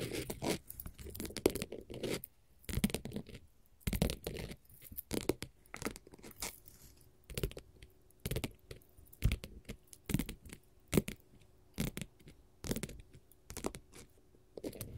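A flat, solid blue glitter faux leather sheet is scratched with long, pointed gold metal finger-jewelry nail caps. The result is a series of quick, dry scratching and tearing-like strokes that come in short bursts with brief pauses between them, each one broadband with a soft low body and a faint steady tone in the background.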